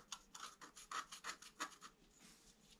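A wooden stylus scratches short strokes into the flower area of a flat scratch-art sheet, black coating over colored paper. About ten quiet, dry, raspy scrapes are heard, bright and hissy with a midrange core near 1.1 kHz, each fading almost instantly, before the scratching trails off into softer rubbing.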